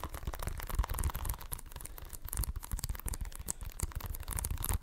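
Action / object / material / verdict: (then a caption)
scrape / plastic video game case / plastic / none. Fingertips and nails scratch and tap the front and edges of a hollow plastic Xbox One game case with a printed cover sleeve. The result is a dense, steady run of dry scratching and quick tapping, with short clicks that die away almost instantly over a low, soft body.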